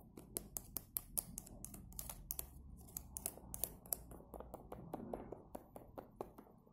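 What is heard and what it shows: A fingernail scratches the foil lid edge of a small orange plastic yogurt cup, held full and sealed in the hand, then taps and scratches its hollow plastic side wall. The result is a quick, irregular series of sharp, bright clicks and ticks with almost no ring, over soft scratchy rustling and a low hum.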